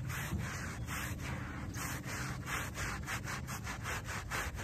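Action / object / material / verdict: scrape / shag-pile fabric doormat scrubbed with a wooden-backed brush / fabric / none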